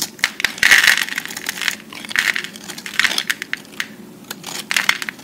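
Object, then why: Pressed soap cube scraped by a metal blade. A metal utility-knife blade scrapes and shaves the surface of a solid, hand-sized cube of pressed green-and-white recycled soap held in one hand, with the flakes falling onto a pile of soap shavings. The sound is a dense run of crisp, bright scraping and crackling bursts with no low end, swelling and easing as each stroke passes.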